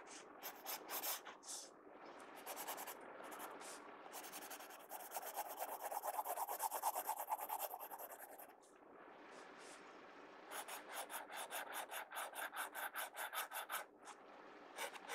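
A pencil tip scratches fast hatching strokes across the page of an open paper sketchbook, making dry, bright rasping strokes in quick runs. In the middle the scratching turns into a longer, steadier rub before a brief quieter stretch. It then breaks back into rapid, evenly spaced strokes.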